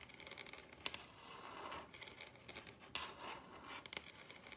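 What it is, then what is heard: Wooden tabletop tapped and scratched with fingernails. Long red acrylic nails tap and scratch across the surface of a large solid wooden dining tabletop. Quiet, bright clicking taps and rasping scratch strokes mix together, with a few sharper, louder taps standing out. Each sound dies away almost instantly, and the tone centres around 2.8 kHz with little low end.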